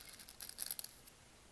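Dry, whole roasted coffee beans are scooped up by hand and let trickle back into a lava stone mortar. A quick run of bright, crisp clatters builds from faint ticks to a denser rattle, then stops, leaving near silence.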